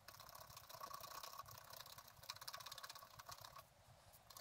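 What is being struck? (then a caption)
Coated scratch-art card scraped with a wooden stylus. A wooden stylus scrapes foliage details into a coated scratch-art card lying flat, making quick, dry, rasping strokes in a steady run. The scratching is bright and brittle with a faint whistling edge, fades to a softer hiss near the end, then picks up briefly again.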